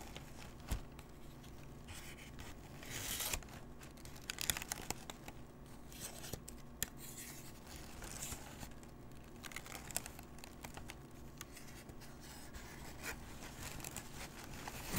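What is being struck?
Crumpled paper sheet.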